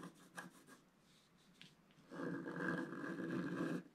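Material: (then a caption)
Coated paper. A wooden stylus scratches paper boat shapes into a flat, black-coated scratch-art page with short strokes. A few light, dry scratches are followed by a quiet pause, then a steady, louder raspy scratching runs for nearly two seconds before it stops.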